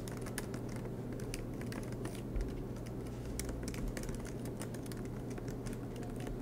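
Fingertips tap out steady typing on the black plastic keys of an aluminum MacBook Pro laptop. Quick, light clicks with bright tops patter over a constant low hum, and each one fades fast.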